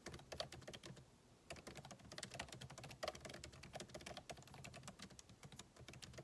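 Fingertips type on the backlit keyboard of a MacBook Pro, with plastic keycaps set in an aluminum body, producing a steady run of quick, crisp key taps. Each click is short and bright, with a soft low thud beneath it, and there is a brief lull in the typing after the first second.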